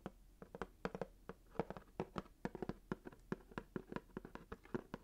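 Fingertips and nails tap rapidly on a small hollow cardboard box wrapped in red swirl paper, held in one hand. About 27 quick, dry taps sound in a brisk, uneven rhythm, each with a hollow papery knock centered around 460 Hz with a lower body near 200 Hz. Each tap dies away almost instantly.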